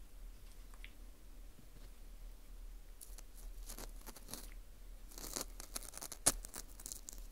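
Metal tweezers scrape inside the hole of a dry, porous dried wheat gluten ring (fu) held in a gloved hand. Soft, dry crunching and crackly scratches come in short bursts over a low steady hum, growing busier and brighter toward the end, with one sharp click standing out near the close.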